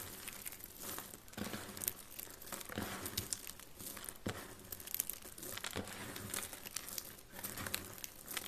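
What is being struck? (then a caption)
Dry soap flakes. Fingertips with purple nails press, crush and rub a pile of solid, brittle yellow dry soap shavings on a grey wooden surface. A steady stream of dry, crinkling crunches and crackles fills the clip, bright and hissy with brief sharper snaps throughout. The overall level stays fairly quiet.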